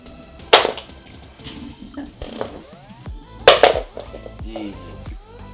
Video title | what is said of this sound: I BOUGHT SOME PAWN SHOP TACKLE BOXES! WHATS INSIDE?? | drop it on the floor listen to this this thing is heavy